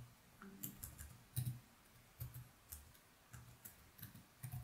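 Fingertips of both hands type steadily on the plastic keys of a laptop keyboard resting on a desk, giving about ten quiet, uneven keystrokes. Each is a soft, low thump with a faint bright click that dies away quickly.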